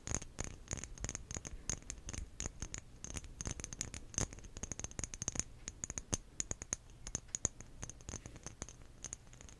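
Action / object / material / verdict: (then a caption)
tap / small textured glass bottle / glass / none. Long nails tap and scratch quickly across a small, clear, apparently empty glass bottle with a lid and a diamond-cut textured surface. The result is a steady stream of quiet, sharp, irregular clicks with bright, high glassy ticks and a soft scratchy rasp, and each tap stops almost instantly with no ringing.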